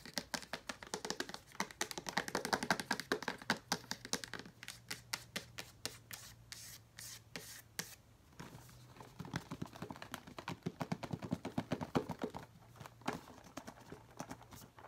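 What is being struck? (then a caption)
Cardboard puzzle box. A hollow rectangular cardboard jigsaw puzzle box with a glossy print is held and tapped on its sides and surface with long nails. Quick, dry, bright clicks and hollow ticks come in rapid bursts, mixed with light scratching, with brief pauses in between. A faint steady low hum runs underneath.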